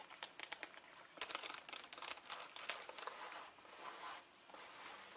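Long nails tap and scratch along the top of a turquoise leather handbag with gold rings and zippers, near the hardware. Quick, bright clicks and crisp scraping rustles come in a dense, uneven run, then settle into a steadier, hissy scratching toward the end.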